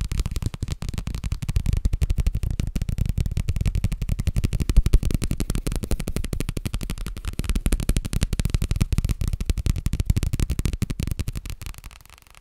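A paper booklet is tapped rapidly and continuously, making a dense stream of soft, dull, low-pitched taps with very little high-frequency content. The tapping holds steady for most of the clip, then quiets and fades out near the end.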